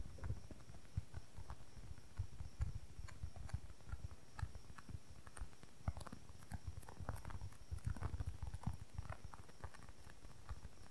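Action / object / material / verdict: tap / polyurethane foam squishy toy / polyurethane foam / none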